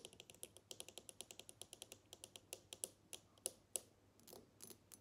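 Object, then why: Small glass perfume bottle with cap. Long nails tap and scratch a small square glass perfume bottle with a black cap, partly filled with liquid, working over both the glass and the cap. A quick, steady run of about thirty crisp, bright clicks with almost no ring gives way near the end to softer scratching.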